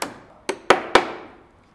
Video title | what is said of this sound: TUTORIEL #02 - Réparation d'une poutre en béton armé | toutes les zones où ça sonne creux c'est là où la poutre est endommagée et c'est là qu'il va falloir démolir et refaire à la place